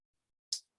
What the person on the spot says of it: the earring is upside down when I flick it down you can hear it click close